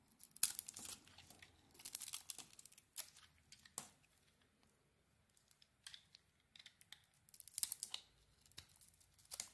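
A metal blade carves curls off the surface of a hand-sized, solid blue embossed bar of soap with a white core. The sound is a series of quiet, crisp, bright scraping and peeling strokes, like soft tearing, with short silent pauses between bursts.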